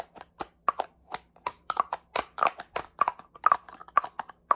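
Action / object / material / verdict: tap / plastic spray bottle / plastic / none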